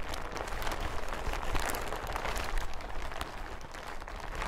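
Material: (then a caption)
Plastic. A large, thin, hollow yellow plastic hazmat suit is held up in both hands and crinkled, shaken and handled. A steady stream of dense crinkling and crackling rustle runs throughout over a heavy low rumble, with brief bright crackle peaks scattered through it.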